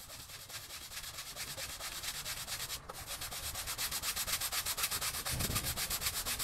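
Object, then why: Wet textile pile rug scrubbed with a bristle broom. A small patterned pile rug covered in soap foam on a wet floor is scrubbed with a green bristle push broom on a long handle, using vigorous rubbing strokes. Rapid, steady scratchy brushing repeats about twice per second, bright and hissy, with a brief break near the middle before the strokes grow louder toward the end.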